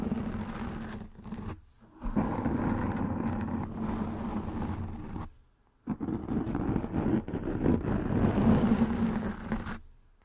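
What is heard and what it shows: Long nails scratch and rub across a soft black foam windscreen covering a microphone head, producing dense, close-up rustling scrapes with a steady low hum near 200 Hz underneath. The scratching comes in sustained stretches, broken by two brief quiet gaps, and fades out at the end.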